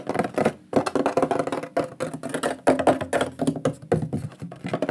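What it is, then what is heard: Wooden plaque, tapped. Fingertips and nails tap quickly across the face of a large, flat, shield-shaped solid wooden pyrography plaque with a lion burned into it. The result is bursts of rapid, dry, hollow knocks that die away almost instantly, centered in the midrange around 600 Hz with little deep bass or bright top. Brief gaps separate the bursts.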